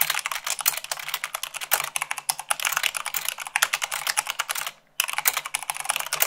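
Long pink nails and fingertips type fast, at about 98 words per minute, on a full-size mechanical keyboard with white plastic keycaps on a black frame. The result is a dense, bright stream of sharp plastic clicks and clacks, broken by a brief silent pause near the end before the typing resumes.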